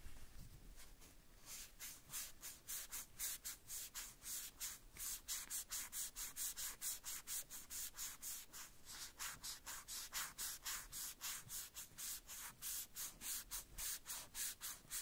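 A white cloth strip held between the fingers wipes and rubs the small, hollow red plastic boot of a Woody doll. About 45 quick, bright, hissy rubbing strokes come at roughly four per second, softer during the first second and then steady and even, with little low end.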